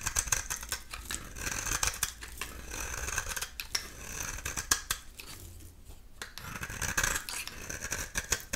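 A dry bar of soap with an orange-yellow core and black shell is held in the hand and scraped repeatedly with a metal utility knife blade. The result is a steady run of crisp, dry scratching and shaving strokes, with bright, hissy texture and short, sharp clicks.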